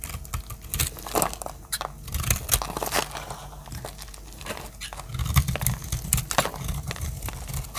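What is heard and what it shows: A metal utility-knife blade cuts and chips a palm-sized, green and white striped bar of dry solid soap. Crisp, crumbly crunches and sharp scraping clicks come in quick, uneven bursts over a low, muffled rumble, with brief quieter gaps as flakes break away.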